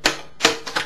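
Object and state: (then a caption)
Loose pick rattling inside an acoustic guitar. A plastic pick loose inside the body of an acoustic guitar rattles as the guitar is held flat and shaken. Four quick, bright clicks are heard as the pick strikes the wood, each followed by a short hollow resonance from the body.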